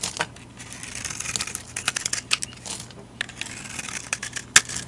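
A utility knife blade shaves crumbly flakes off a solid rectangular white bar soap with a yellow rim, held in a hand with long dark nails. Rapid, bright scratching and crackling strokes come through, with a few sharper clicks standing out over a steady low hum.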